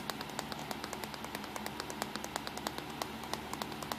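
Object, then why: Plastic compact digital camera. Fingertips and short nails tap quickly and steadily on the back LCD screen, buttons and hollow casing of a small black plastic compact digital camera. Around thirty short, bright, hollow clicks sound over a faint, steady low hum, each decaying quickly.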